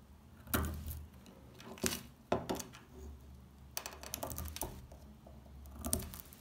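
A small metal blade scrapes and scratches the surface of a solid, rectangular bar of dry brown household laundry soap held in hands with pink-painted nails, shaving off crumbly flakes. Dry, crackling scrapes and brittle crunches come in short bursts with bright edges over a quiet low hum, each stopping almost at once with no ring.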